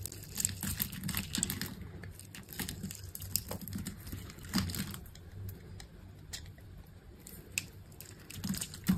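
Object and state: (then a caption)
Dry bar soap being scraped. A hand-held solid green bar of dry soap has its surface scored and scraped off in small pieces with a metal utility knife blade. Quick, dry scraping and cutting strokes give crisp, bright ticks and crackles over a soft low rumble. The flakes come away without any ring.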